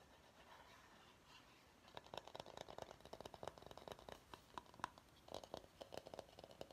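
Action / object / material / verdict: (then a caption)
tap / bamboo salad bowl / bamboo / none. A large, hollow, empty bamboo salad bowl held upside down in both hands has its outer surface tapped and scratched with short fingernails. After almost two seconds of faint hiss, a quick, uneven run of crisp, dry taps and short scratchy strokes begins and continues to the end. The taps carry a hollow tone around 1 kHz and die away almost at once.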